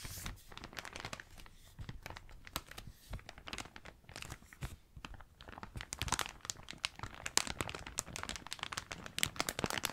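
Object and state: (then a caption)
Plastic bag. Both hands grip and crumple a large, thin, empty blue plastic carrier bag. It gives a dense stream of sharp, bright crinkles and crackles that grow louder and busier in the second half.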